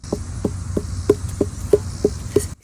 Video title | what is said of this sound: Our First Year Growing Pumpkins & Melons - Episode 31 | See how hollow that sounds?